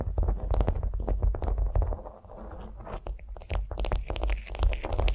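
Long nails scratch and tap a flat beeswax-coated cotton food wrap lying on a vinyl mat. The result is a dense, irregular run of crisp crackling scratches and sharp, bright clicks over a heavy low thumping, with a brief quieter, softer stretch in the middle.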